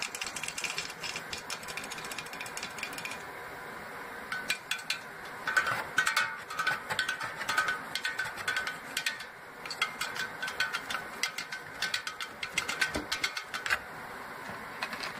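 A pencil and fingers tap and scratch the tops of full aluminum Coca-Cola cans sitting in an open cardboard box. Dense runs of quick, bright clicks and taps come with a light metallic ring around 1.5 kHz and short decays, over a faint steady hiss. The scratching adds rough textured bursts between clusters of sharper taps.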